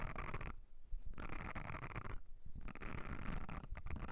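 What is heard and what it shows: Long nails scratch across the nubbed texture of a thin, flat blue silicone makeup brush cleansing mat held on edge. The result is a dense, rough scratching with a dull low rumble and faint bright rasp, broken by two short pauses.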